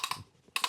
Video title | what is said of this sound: The BMW That No Mechanic Could Start for 2 Years | when you hear this sound, seems like it's working. I just was probably stuck because of the long standing. Now it moves really easily.